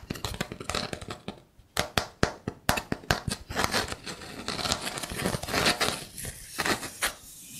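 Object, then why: Linked wooden block trivet. Long painted nails tap and scratch across a linked-block trivet made of solid wood pieces, giving quick, dry clicks with almost no ring. A run of sharp taps gives way to denser, bright scratching and rubbing over the blocks in a small, quiet space.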